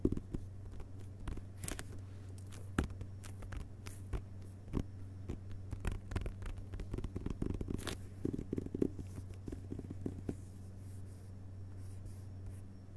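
A closed hardcover book with a paper dust jacket lies on carpet while both hands tap its front cover with their fingertips, then a single finger takes over the tapping. The taps are soft, dull and short, some with a faint papery click, over a steady low hum. The result is a quiet, muffled patter that grows busier in the middle and thins out toward the end.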